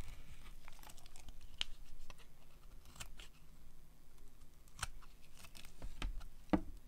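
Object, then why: Soap bar carved with a metal blade. A pink dry soap bar, partly visible above a pile of shavings, is carved with a metal utility blade. Soft crumbly scraping and crinkling run throughout, broken by short, crisp cutting snaps that flash up bright. The quiet clip has a low rumble underneath.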